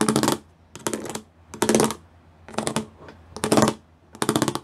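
Fingertips and nails tap on a grey plastic sheet with pyramid studs. Six quick bursts of light, clicky taps are separated by short pauses, each burst bright and crisp with a brief ring.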